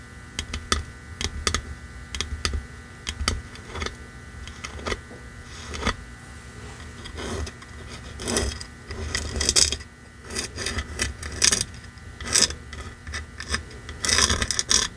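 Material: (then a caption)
Wood. A small red painted wooden box sign lies flat and is tapped and scratched with long nails and fingertips across its face and edge. Quick, dry clicking taps come in uneven runs, mixed with bright, hissy scratching bursts that swell and fade. Each tap dies away almost at once, leaving a faint steady low hum underneath.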